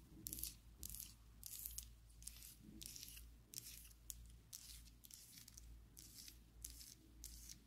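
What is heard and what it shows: A slim pink and black plastic Essence liquid lipstick tube, held above a table, is tapped and scratched with long acrylic nails. Quick bursts of bright, crisp clicking and rasping scratches come in rapid clusters over a steady low hum.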